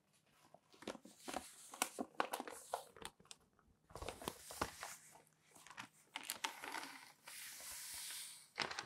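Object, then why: Newsprint newspaper. A folded newsprint newspaper is lifted in both hands, shaken open and unfolded, then pressed flat on the table with the palms. Crisp crinkling and rustling come in quick, dry bursts of many separate crackles. Near the end the paper gives a longer, steady bright hiss as it is smoothed down.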